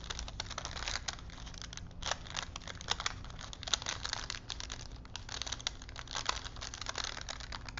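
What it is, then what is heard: Paper film strip being crinkled. Fingers roll a thin printed paper film strip on small wooden spools, crinkling the paper. Dense, bright crackles and sharp ticks run throughout over a faint steady low hum.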